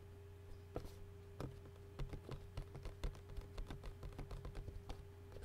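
Fingertips and short nails rapidly tap and scratch the thin, hollow clear plastic lid of an empty takeout bowl, held lid-up. The result is a quick series of short, dry clicks and taps with a little scratchy texture, heard over a steady low hum.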